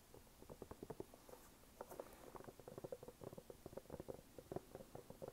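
Fingernails tap and scratch the brown waffle-pattern rubber outsole of a red canvas sneaker held up in a hand. A quiet, rapid run of dull, dry ticks and soft scratches is heard, centered in the mid-range with little bass or brightness. Each tap stops almost at once.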